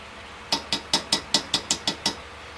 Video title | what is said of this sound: Part #3 of 20. Chevy BBC Hi-perf Engine Rebuild 454 / heads assembly | Usually you can tell by the sound it makes if it's bottomed out. If you hear a little dead sound, it probably needs to go down a smidge more.